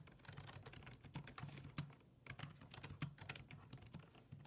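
Fingertips type rapidly on a black plastic full-size desktop keyboard with low-profile keys resting on a wooden desk. A steady run of quick, soft clicks and taps, each with a dull low thud and a short bright click on top, dies away almost instantly.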